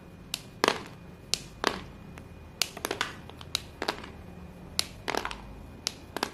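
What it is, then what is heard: White chalk sticks crumbling. Hands gather white chalk sticks and crush them between fingers and palms above a pile of white chalk pieces. Sharp, bright crunching snaps come in irregular bursts, each dying away almost instantly, with soft crumbling in between. The chalk breaks apart into pieces.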